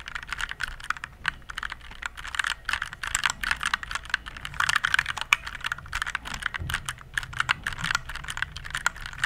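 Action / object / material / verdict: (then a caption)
tap / plastic mechanical keyboard / plastic / none. Fingertips type rapidly on a compact RGB plastic mechanical keyboard held in both hands. A steady stream of short, sharp plastic clicks and clacks comes through, bright with a midrange body around 1 to 2 kHz. Each keystroke dies away almost instantly, leaving a faint low hum between them.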